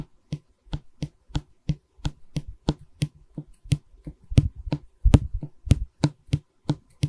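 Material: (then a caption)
Pine wood. A solid pine stretcher bar of a wooden canvas frame, held in both hands, is tapped and scratched with long red nails. The result is a quick run of short, dry, low knocks, about 19 in all, in an uneven rhythm. Each knock fades almost at once, with faint scratchy texture around them.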